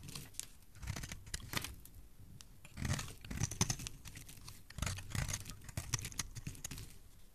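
A palm-sized solid blue bar of soap is held in one hand and scraped and carved with a metal knife blade, curling off shavings. Quiet, dry scraping strokes and crisp crackles follow one another in uneven bursts, each stroke stopping short with no ring.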